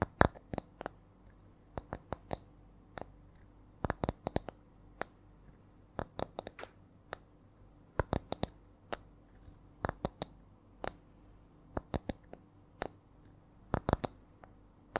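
A small, round, flat spiral coaster with coiled rings, apparently light wood, is held in both hands and tapped with long nails. Short, crisp clicks come in an uneven rhythm, some single and some in quick clusters. Each tap cuts off almost instantly against a quiet background.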